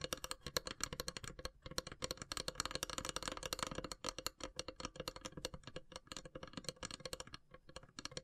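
Long silver nails tap rapidly along the top edge of a long, hollow, carved wooden incense box. The taps are short, dry and clicky, with a bright, rattling texture and a faint hollow tone near 500 Hz, dying away almost instantly. They form a dense, steady patter that swells and eases slightly over the clip.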